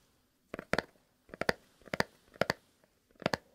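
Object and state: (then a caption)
Cardboard box. A small, long, rectangular kraft cardboard box printed "Fox" is held hollow over a dark textured mat and tapped with fingernails by hands in fingerless leather gloves. Five short bursts of quick, dry, crisp taps sound, each a cluster of two or three clicks with a bright upper edge and almost no ring.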